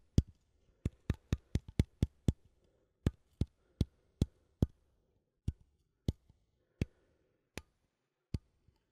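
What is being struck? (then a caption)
Small metal coffee tin. A small cylindrical metal coffee tin, held in one hand, has its lid and rim tapped and scratched with fingernails. Eighteen quiet, dull taps with a low body and very short decay come in an uneven rhythm, with faint scratchy rustling between some of them.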